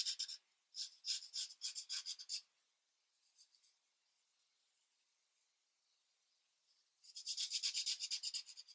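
A marker tip rubs steadily back and forth over one small area of a paper coloring page resting on a flat light pad. Quick, bright, raspy strokes come in a fast run, fade to a near-silent pause with a few faint scratches, then resume in a dense burst at the end.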